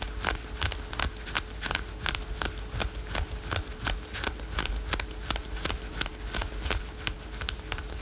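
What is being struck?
Synthetic stretch fabric leggings.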